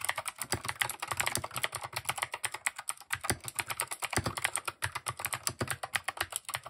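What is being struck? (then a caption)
Mechanical keyboard with plastic keycaps. Fingertips type rapidly and steadily on a compact mechanical keyboard with plastic keycaps. The keystrokes make a dense stream of sharp, bright clacks that stop almost instantly, with only a light low thump beneath them. There are a few brief pauses, including one near the three-second mark.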